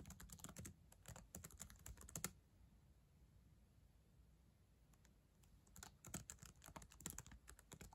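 Long acrylic nails and fingertips type on the plastic keys of a black ThinkPad laptop keyboard, a solid device. Two bursts of quick, bright clicky taps with a dull low thump come first at the start and again near the end, separated by a few seconds of near-silence. Each tap dies away almost instantly.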